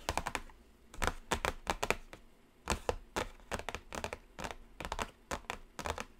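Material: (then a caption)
Cardboard. Long blue acrylic nails tap the lid of a closed BPerfect Carnival eyeshadow palette, a large, thin, flat black cardboard box lying on a glittery table. The taps are quick, dry and clicky with almost no ring, falling in uneven rapid clusters.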